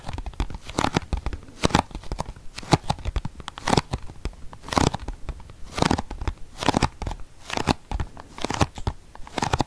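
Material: Cardboard.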